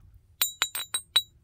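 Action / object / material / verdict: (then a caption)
strike / flint biface / flint / solid. A heat-treated Flint Ridge flint biface with a visible crack is struck five times in quick succession. Each strike gives a short, bright, bell-like clink ringing near 3.9 kHz. The clear ring shows the biface is solid and the crack is not a problem.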